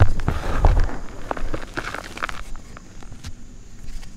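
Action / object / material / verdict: scrape / reformed gym chalk block / chalk / none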